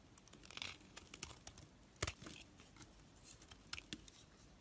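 A knife shaves flakes off a solid orange soap bar held in the hand, carving it down. Quiet, dry scraping and crackly tearing sounds come in short bursts, with a few sharper, brighter clicks standing out among the soft shavings.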